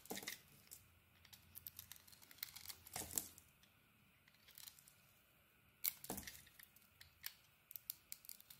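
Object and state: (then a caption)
Bar of soap being scraped. A hand-held, hand-sized solid oval pink Balea soap bar with a polka-dot pattern is scraped with a metal utility blade, revealing its pale core. Quiet, bright, crisp scraping and shaving strokes come at an irregular pace, with a few longer, louder rasping passes standing out, each stroke stopping dry with no ring.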